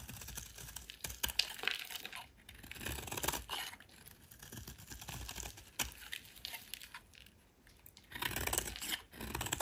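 A solid rectangular white soap bar held in the hand has its edge scraped and carved with a metal utility knife blade. Dense, irregular bright scraping and crisp shaving crackles come in bursts with short quiet gaps, each stroke dying away almost instantly.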